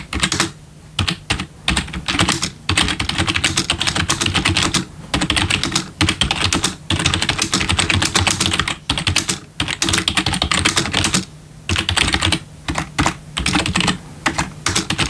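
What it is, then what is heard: Plastic keyboard being typed on. Bare fingertips of both hands type on a full-size black plastic membrane gaming keyboard with RGB backlit keys, resting on a wooden desk. Rapid bursts of bright, clicky key taps with a soft low thud run almost continuously, broken by brief pauses.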